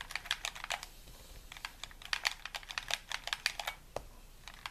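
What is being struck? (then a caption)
Plastic game controller. Fingertips tap and click the buttons and shell of a hollow white plastic gamepad held in both hands. About two dozen quick, dry, bright clicks come in an uneven, typing-like patter, each dying away almost instantly over a faint background hiss.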